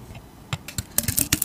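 A hand with long teal nails carves a hand-sized solid oval bar of soap, with a dark green painted floral surface and a tan interior, by scraping it with a utility knife blade and shedding shavings. About six short, crisp scrapes follow a quiet start, each a bright, dry rasp with a soft low thud underneath, coming faster and closer together toward the end.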